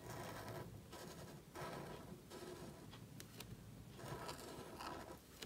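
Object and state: Paper card scratched by a marker nib.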